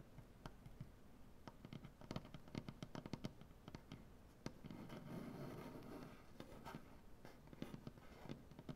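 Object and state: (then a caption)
Solid maple butcher-block table. Both hands tap their nails on a large solid maple butcher-block tabletop, making a quiet, irregular run of short, dry clicks with a woody low thump beneath. The clicks cluster in quick bursts, and around the middle they give way to a softer, continuous scratching sound before the tapping returns.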